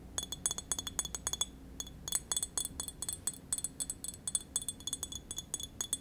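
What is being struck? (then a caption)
Glass wine bottle. Long nails tap a small, apparently full green glass wine bottle with a paper label, held in hand. Some thirty quick, quiet, bright clinks come in uneven clusters, each dying away almost at once, with a high glassy ring.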